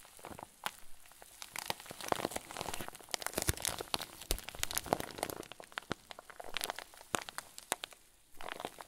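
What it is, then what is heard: Plastic bag with fluffy filling being crinkled. A medium-sized clear zip plastic bag packed with white fluffy filler is squeezed and crinkled by fingers. The result is a dense run of sharp, bright crackles and soft rustling bursts with no ringing, broken by brief quieter pauses.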